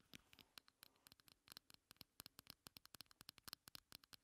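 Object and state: Plastic compact.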